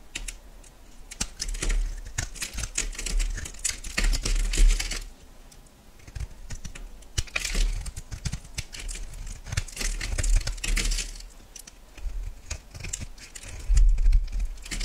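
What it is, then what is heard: Yellow bar soap being shaved. A solid yellow bar of soap is shaved into thin curls with a metal knife, giving bursts of dry, crisp scraping and cutting with bright, high edges. The strokes come in dense, uneven runs with short pauses between them, over a low rumble.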